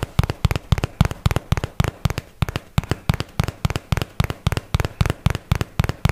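A cardboard product box of paperboard is held close and tapped with a fingertip and fingernail on its faces and edges, giving 27 quick, evenly spaced taps over about six seconds. Each tap is a dry, hollow, low thud with a brief bright click on top that dies away almost instantly.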